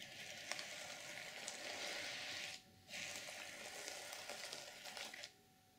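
Long purple nails and fingertips slowly brush and scratch across the plastic sequins of an open reversible sequin fabric journal cover, flipping them from silver to black. The result is a dense, bright, hissing rustle with small crisp clicks, broken by one short quiet pause midway, before it drops to near silence at the end.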